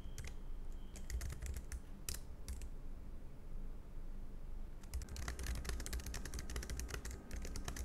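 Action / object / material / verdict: tap / low-profile plastic keyboard keys / plastic / none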